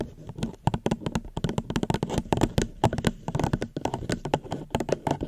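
A plastic cup is tapped gently close to a microphone in a quick, uneven run of many light taps. Each tap is short and dry with almost no ring, giving a dull, hollow tone weighted toward the low end.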